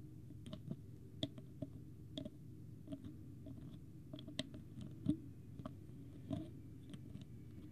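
Fingertips and nails tap on the white plastic screw cap of a small clear plastic water bottle with a green label, held up in one hand. About fifteen quiet, short clicky taps land at an irregular pace, each a crisp bright tick that dies away almost instantly over a steady low rumble.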